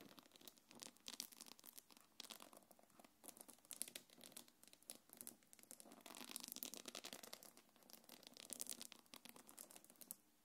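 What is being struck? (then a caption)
Quilted faux-leather bag with metal chain. Long nails scratch and rub a small black quilted faux-leather belt bag and its gold metal chains, making dense, bright scratching and crinkling. Rapid, closely spaced strokes run for about ten seconds, with louder bursts of rubbing near the middle and end before it stops.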